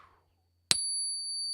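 A Gold Eagle gold bullion coin is struck once with a stack stick, giving a sharp high ping that rings on as a long, steady tone, marking it as a real gold coin with strong resonance.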